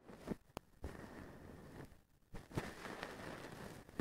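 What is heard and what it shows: A small wooden stick brushes and scratches the strands of a blue plastic-strand feather duster with a white handle. The result is soft, dry rustling and scraping, broken by several sharp, quick ticks and brief quiet pauses.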